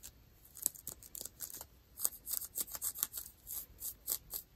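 Long nails scratch dark ripped denim jeans over the knee, catching on the frayed threads, with a microphone held close but not touched. Quiet, bright, dry scratching strokes come in quick rhythmic bursts with almost no low end and no ring after each stroke.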